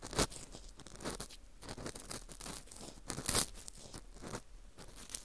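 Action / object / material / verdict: scrape / dried wheat gluten ring (fu) scraped with a plastic earpick / baked wheat gluten / none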